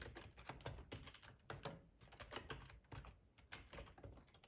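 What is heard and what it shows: Fingertips of both hands type on a full-size black plastic ergonomic split keyboard resting on a cloth tablecloth. The result is a steady, irregular stream of soft, quick key clicks and taps, each with a dull low thump and a brief bright click that dies away almost at once.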